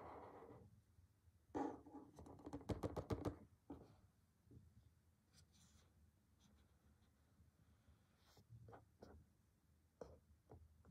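A fingertip taps and scratches the printed back panel of a small, flat, closed cardboard retail box for a BlackWeb glass screen protector for iPhone SE 2.0, iPhone 7 or iPhone 8, lying on a table. A soft scratch opens the clip, followed by a quick flurry of dry, papery taps and scrapes. The rest is quieter, scattered light taps and brushing strokes, all short and dead with no ring.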